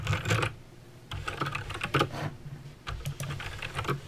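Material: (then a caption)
Plastic. Fingertips type on a backlit mechanical keyboard with plastic keycaps and clicky green switches. Bursts of sharp, bright clicks ride over a low plastic clatter, with a short pause early on before the typing resumes in irregular flurries.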